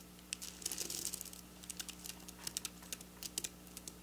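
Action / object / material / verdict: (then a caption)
tap / sequin fabric / plastic sequins / none. Long black nail tips tap quickly on flat silver sequin fabric, making a rapid run of bright, crisp clicks and light rustling that die away almost at once. A faint, steady low hum sits underneath the whole clip.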